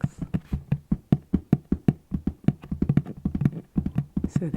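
Fingers tap repeatedly on a cardboard flip-top box with slits in its sides, producing a steady run of quick, low, dull knocks that die away almost instantly. Because the slits keep the box from being fully closed, the taps have a slightly hollow, echoey tone.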